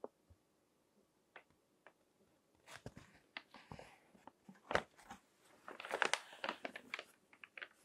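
Fingertips turn the pages of a crinkled glossy paper magazine on a table, rubbing the paper. A few faint, sparse ticks give way to bright, crinkly rustles and crackling bursts that grow denser and louder toward the end. Each burst is dry and stops almost instantly.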